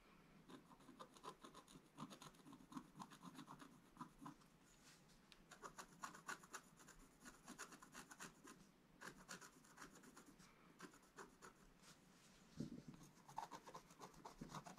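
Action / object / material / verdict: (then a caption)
scrape / scratch-art coated paper page scraped with a wooden stylus / coated paper / none. A wooden stylus scratches quick strokes into a black coated scratch-art paper card in a book. The quiet, dry rasping comes in rapid bursts of short scrapes with a faint bright hiss, and a few strokes are louder near the end.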